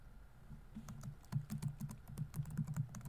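Fingertips rapidly tap the plastic keys of a laptop keyboard on a grey laptop body while typing. The result is a quick, uneven stream of soft, low, muffled key thuds, each topped with a faint bright tick, over a quiet background.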